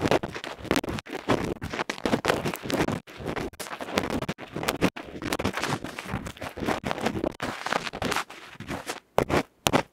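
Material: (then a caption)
Metal, felt. A tapered bamboo ear-pick tip scratches and rubs across the felt/mesh face of a small hollow metal electret microphone capsule held in the fingers. It makes loud, close, broadband scratching and rustling in dense bursts broken by brief silent gaps. The clip ends with a couple of sharp, isolated scrapes after a quieter stretch.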